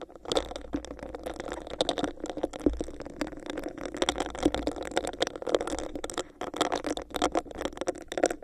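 Long nails scratch and tap the textured surface of a hollow, clear, bumpy plastic cup placed over a microphone. The result is a rapid, continuous stream of sharp, bright clicks and scratchy rasps over a hollow, boxy resonance around 500 Hz.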